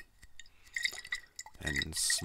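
A bottle of Crazy Water mineral water is sloshed, and the liquid is heard moving inside it. Bright, splashy gurgles and clinks are interspersed with a steady high ring, building to a louder, hissing slosh at the end.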